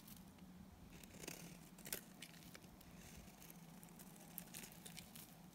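A utility knife blade scrapes thin curls off the face of a solid oval white bar of dry Timotei soap held in the hand. The result is quiet, dry, crackly scraping with soft crinkling bursts and a few sharper ticks, over a steady low hum.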